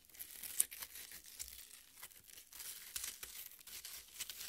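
Long red nails dig into and scratch the juicy red flesh of a half watermelon. Wet, crackling, tearing scrapes come in a quick stream of bright, high crunches, with little low end and one sharper peak near the start.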